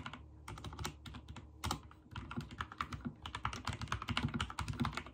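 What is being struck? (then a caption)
Mechanical keyboard with plastic keycaps. Fingertips type steadily on a backlit mechanical keyboard with white and teal plastic keycaps for about five seconds. The key presses make a fast, uneven run of sharp clicks and thocks, with a low body under bright, crisp tops.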